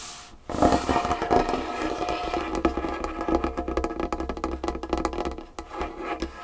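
Long fingernails of both hands tap quickly and scratch across a large solid wooden tabletop. After a brief quiet start, a dense stream of sharp clicks and scrapes follows, with a faint tone near 700 Hz and a steady low hum beneath. Each tap dies away almost at once.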